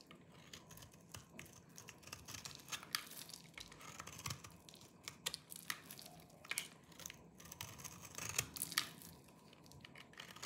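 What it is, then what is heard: Dry soap bar scraped with a knife. A small knife with a yellow-tan blade shaves and scrapes the surface of a hand-sized solid bar of dry green soap held in one hand, sending crumbly flakes falling off. The result is a quiet, continuous run of dry, crisp crunching and scraping, bright and hissy with little low end. Sharper crackling bursts stand out now and then over the steady shaving.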